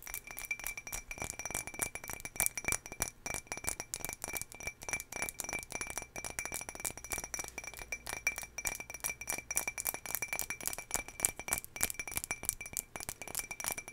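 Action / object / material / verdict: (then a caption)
tap / small glass jar / glass / none. A small patterned turquoise glass jar holding cotton pads is tapped rapidly and continuously. It gives quick, bright, glassy clinks that stop almost instantly, with little low end and a faint steady high tone underneath.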